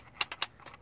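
A metal idle speed control valve from a BMW Z4, just cleaned of carbon buildup with brake cleaner, is shaken by hand. Its internal part rattles in five short, bright, high-pitched clicks, showing it now moves freely inside again after barely moving before cleaning.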